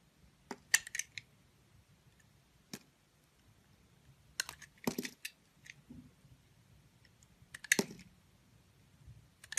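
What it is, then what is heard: Bar of soap being sliced. A box cutter blade slices thin curls off the surface of a solid, hand-sized pink oval soap bar with embossed lettering, held in a hand with long nails. Short, crisp, bright scraping crackles come in scattered bursts, with quiet pauses between the cuts.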